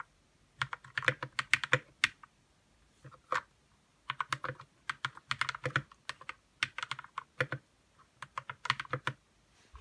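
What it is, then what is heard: Plastic mechanical keyboard. Fingertips of both hands type in quick bursts with short pauses on a white RK61 60% mechanical keyboard with plastic keycaps, lubed red switches and a hollow plastic case. The keystrokes are sharp, bright clacks with a light hollow body that cut off almost instantly.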